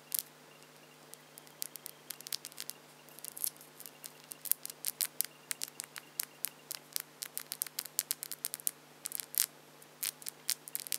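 Long French-tip acrylic false nails are clicked and tapped nail against nail between both hands. Many short, dry, bright clicks come in an irregular, quickening patter and die away instantly, over a quiet, steady low hum.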